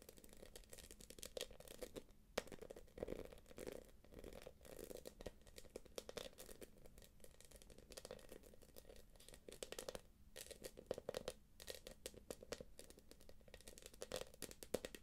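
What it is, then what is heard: Quilted plastic purse. Long nails tap and scratch across the quilted panels of a small, hollow, light-blue glossy plastic purse. The result is a steady stream of quick, quiet clicks and scrapes with a hollow mid-range tone and bright scratchy edges, with a few louder taps standing out.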